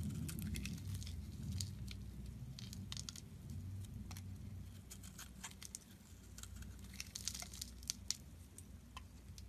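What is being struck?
Soap bar.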